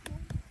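A field-picked watermelon is flicked twice to check it by sound, giving two short, low, dull thumps centered around 90 Hz that die away quickly. The hollow, deep response marks the melon as ripe.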